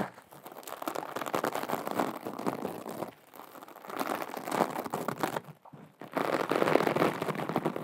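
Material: Glitter fabric.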